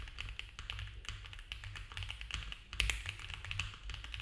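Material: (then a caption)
Plastic. Both hands type fast with their fingertips on a compact mechanical keyboard with cream ABS keycaps on a dark case, a polycarbonate plate and foam filling. The result is a rapid, uneven stream of short, bright plastic taps and clacks that die away almost instantly, over a steady low hum.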